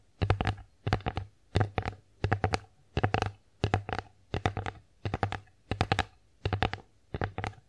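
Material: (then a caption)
Wood. Long acrylic nails tap and scratch the flat face of an empty wooden bear-face plate. Eleven quick bursts of several clicky taps each, roughly evenly spaced, carry a dull low knock under bright nail ticks. Each tap dies away almost at once.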